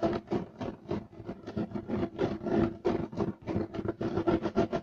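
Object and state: Woven fiber carpet being scratched.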